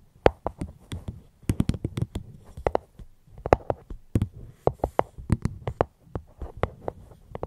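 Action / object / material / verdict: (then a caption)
tap / fruit box / unknown / none. Fingertips tap steadily on a fruit box held at the microphone, producing short, dull knocks with a soft hollow low end and brief bright clicks. The taps come in quick irregular runs with brief pauses and die away almost instantly, with no talking.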